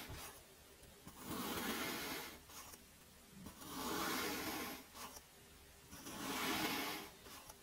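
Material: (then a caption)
Sand. Small metal blade tools cut through teal kinetic sand in a cup, leaving flaps in the surface. Three slow, gritty crunching strokes swell and fade in turn, each a soft, broad rasp with a bright, hissy grain and quiet pauses between them.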